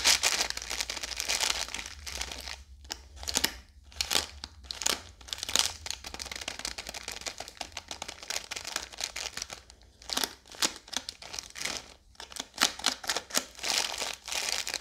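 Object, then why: Biscuit roll in plastic film. A full roll of Oreo biscuits wrapped in blue plastic film is scratched and tapped along its length with long yellow nails. Bright, crisp plastic crinkling and scratching come in quick bursts with short pauses between them, and there is almost no low end.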